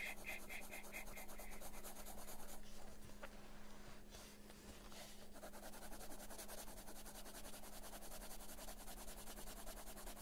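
A dark colored pencil held in the fingers shades a flat paper coloring book page lying on a surface, its lead tip rubbing and scratching in continuous back-and-forth strokes. The quiet, steady scratchy rasp sits over a constant low hum, easing briefly midway before resuming.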